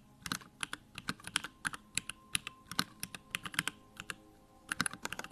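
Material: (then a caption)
Aluminum, plastic. Fingertips of both hands type rapidly on a compact 65% Bakeneko65 mechanical keyboard with Durock lavender switches, a pink aluminum case, plastic backlit keycaps, resting on a wooden desk. About thirty crisp, bright clacks come in quick bursts with brief pauses, each dying away almost instantly with little low end. A faint steady tone hums underneath.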